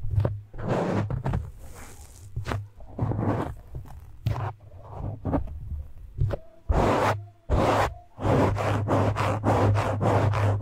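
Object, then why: Foam microphone windscreen. Fingertips and nails of both hands scratch a soft, porous black foam windscreen on a microphone. The result is irregular bursts of close, rough, crackling scratch noise that reaches high and bright, each with a heavy low rumble around 94 Hz. Short pauses fall between the bursts, and the last few seconds are denser and louder.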